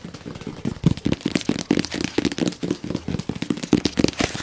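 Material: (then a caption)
Cardboard. A hollow, medium-size white printed cardboard box for a round gadget is held up and rapidly tapped and scratched with fingernails, producing about 22 quick, dull taps. The taps have a hollow low-mid thump and die away almost instantly, with bright scratchy rustling between them.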